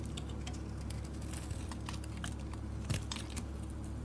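A solid, dark green, oval, palm-sized bar of soap is held in the hand and shaved with a metal utility blade. Quiet, crisp scraping and ticking flicks come in quick succession over a steady low hum. Each shave cuts through the soap with a soft, bright crackle.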